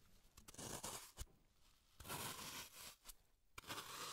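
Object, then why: Green floral foam block. A small tool scrapes and carves a solid green floral foam block held in gloved hands, shaping it into a brain. Bright, dry scraping and crumbling bursts come in uneven strokes, punctuated by sharp ticks as the tool catches and breaks the foam, with quiet gaps between.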